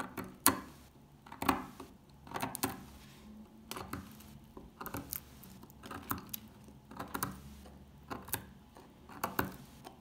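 A solid, dry, old dark green soap bar is picked at with a metal pick, lifting flakes from its surface. Short, crisp crunching clicks and scrapes come in irregular clusters, about one a second, each dying away quickly against a quiet background.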